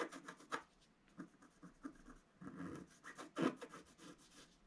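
A wooden stylus rubs and scratches the black coating of a flat scratch-art paper card over a pink flower. Quiet, dry scraping strokes come in short bursts with a soft, bright rasp.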